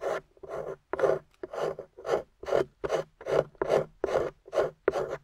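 A metal pick scrapes and chips crumbly beige plaster off the end of a gold-painted plaster excavation bar. About fifteen short, dry, raspy scrapes come in a steady but uneven rhythm, each with a midrange body around 500 Hz and a bright gritty edge. They stop quickly with no ring.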